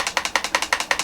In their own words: As I shake this, I'm hearing rattle of the battery.